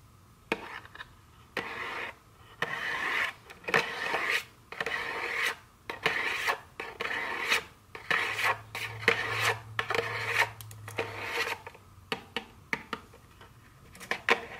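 Very long nails scratch and rub across the printed front of a small, hollow cardboard chocolate candy box held in the hand. The result is a series of dry, rasping strokes of uneven length separated by short silences, with a papery hiss concentrated in the upper mids and some bright edge. A faint low hum runs underneath partway through.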